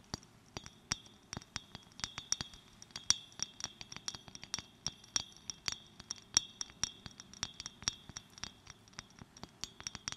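Long nails tap and click on a small clear glass bottle held in the fingers. Many quick, light, bright clinks fall in an irregular run with almost no ring, over a faint low hum.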